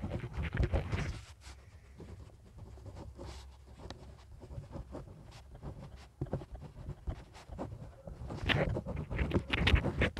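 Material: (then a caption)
Paper. A hand writes with a pink pen on a lined paper notepad on a clipboard, and small lavalier microphones are clipped to the pad's edge. The pen tip scratches across the flat, thin paper in short strokes, softer through the middle and louder toward the end.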